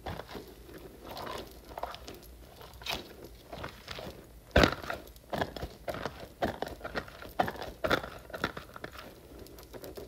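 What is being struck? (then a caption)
Soft silicone spiky puffer toy. Fingertips and long nails rub and scratch the many flexible spikes of a hand-sized, hollow, blue soft silicone/rubber fuzzy puffer toy and squeeze it. The result is a steady run of soft crinkly scratching and crackly patters, broken by sharper snapping clicks, the loudest near the middle of the clip.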